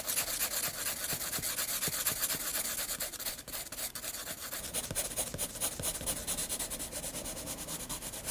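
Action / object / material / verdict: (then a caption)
scrape / graphite pencil on a paper sketchbook page / paper / none. A graphite pencil makes fast hatching strokes across the flat white paper page of a spiral sketchbook. The result is a steady, bright, scratchy rubbing with a loose rhythm of about two strokes per second, easing briefly around the middle before continuing.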